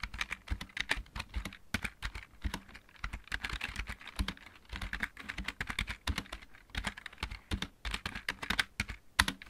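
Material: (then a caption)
Plastic. Fingertips of both hands type steadily on a full-size backlit mechanical keyboard with plastic keycaps. The result is a quick, irregular stream of sharp, bright clicks, each with a low thud beneath it and a very short decay.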